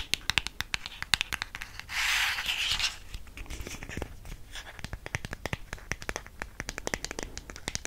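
Long painted nails tap and scratch a small, hollow black cardboard MAC matte lipstick box. A rapid, uneven series of light, crisp taps sounds throughout, with almost no ring. A steady, hissy scratching rub fills the middle second, around two to three seconds in.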